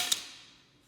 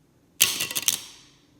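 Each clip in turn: First: metal credit card with much plastic, dull non-metallic drop sound. Second: metal card, metal with a less metallic sound.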